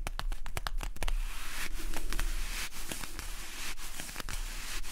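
A small, hollow, blue printed cardboard medicine box is held in both hands while fingertips and nails scratch and tap its flaps and side panels. A quick run of crisp, dry taps opens the clip, then gives way to a steady, bright, papery scratching and crinkling, broken by occasional sharper taps.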